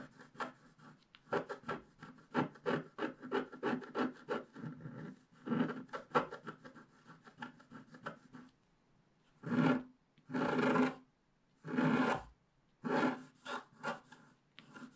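A thin wooden stylus scrapes the black wax coating off a flat, roughly A4 scratch-art page from a book, revealing the colored base underneath, while the page lies on a table held down by one hand. For the first eight seconds there are quick, short, dry scratching strokes in a loose rhythm. After a brief pause come a few longer, louder rasping scrapes.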